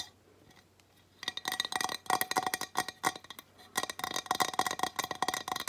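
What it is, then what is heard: Ceramic tile sign tapped with nails. Long nails tap fast on the flat glazed surface of a ceramic tile sign reading "Welcome to the Mountains!" while it is held up. After a quiet first second, bursts of quick, bright, clicky taps ring briefly around 1 kHz, with short pauses between the runs.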